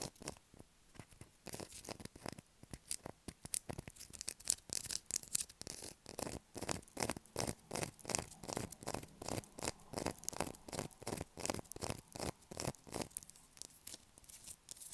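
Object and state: Bar of soap scraped.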